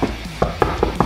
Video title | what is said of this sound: DE BESTE VLOG OOIT -- Vlog 31 | Het is een vrij holle wand. Je hoort het ook als ik erop klop.